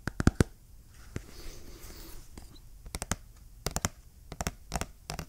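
A small, hollow, printed black and orange cardboard retail box for an AMD Ryzen CPU is held in both hands and tapped and scratched with fingernails. Quick, dry clicking taps come in short bursts, with a soft, hissy scratching stretch in between, and each tap stops almost instantly with no ring.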